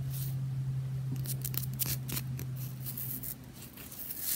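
Fingernails rapidly scratch and tap the surface of a spherical, tennis-ball-sized solid bath bomb made of two pressed halves, held in the palm. Fast, dry scratching bursts with bright, hissy highs sit over a steady low hum that fades out after about three seconds.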